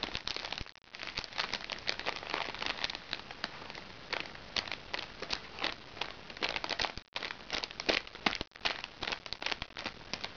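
Long nails scratch and pinch a small, crinkly recycled plastic makeup bag held upright. The result is dense, bright crinkling and crackling made of many short, dry bursts, with brief near-silent gaps around 0.8, 7.1 and 8.5 seconds.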